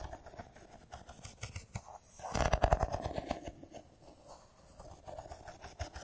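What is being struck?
Metal-and-glass smartphone.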